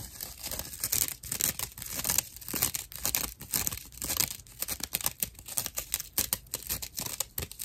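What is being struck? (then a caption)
Natural loofah sponge. A dry natural loofah pad, held upright in both hands, is scratched with the fingernails of both hands. The result is a rough, bright, dense scratching and crinkling sound in rapid uneven bursts, with little low end.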